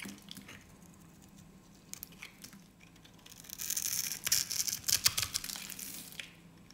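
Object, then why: Bar of soap cut with a metal blade. A solid green soap bar held in the hand is scored and shaved with a metal utility blade, and small soap cubes fall off. Faint, scattered ticks at first give way, around the midpoint, to a louder stretch of bright, crisp scraping and crunchy cuts with sharp peaks. The sound then fades back to near silence.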